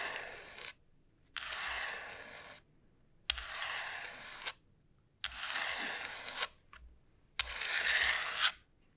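Long nails slowly scratch the rough surface of a large, hollow dried gourd shell. Five long, bright, rasping strokes are heard, each about a second long and separated by short silences, with a brief scrape between the last two.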